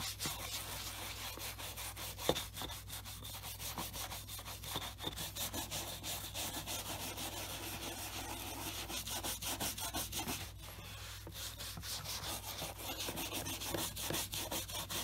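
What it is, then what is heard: Brush strokes on a leather shoe. A wooden-backed horsehair brush is stroked briskly over the upper of a black leather Scotch Grain wingtip dress shoe, fitted with a shoe tree and held tilted on a desk mat. A steady run of quick, bright, bristly rubbing strokes comes at roughly three per second, with a low hum beneath and one sharper tap early on.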